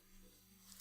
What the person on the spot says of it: it's a hard shell case you can hear me knocking on it